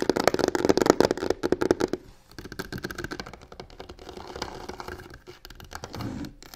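Long nails rapidly tap and scratch the side panel of a hollow box covered in black embossed crocodile-texture faux leather. Loud, dense, irregular taps with a mid-range body fill the first two seconds, then give way to softer, continuous scratching with scattered taps. Each tap is dry, with almost no ring.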